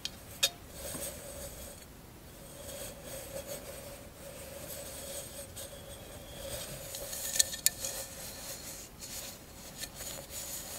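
A tall, hollow, empty candle holder covered in glass mosaic tiles is tilted to show its clear glass base and lightly tapped with long acrylic nails. A few sharp, bright clicks with almost no ring stand out over a quiet background hiss and a faint steady hum.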